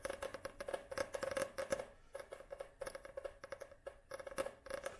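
Long nails tap and scratch rapidly across the glossy card cover of an upright paperback book. Quick, dry clicks and scrapes come in dense bursts with brief pauses, each tap dying almost instantly. A faint recurring tone sits near 540 Hz under the clicks.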